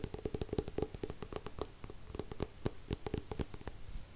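A paperback copy of "Het einde van een sprookje" with a glossy card cover, held upright, is tapped and scratched on its front cover with fingertips and nails. A rapid, uneven run of short, dry taps gives soft low thuds with a faint hollow tone, each dying away almost at once, over a quiet scratchy rustle.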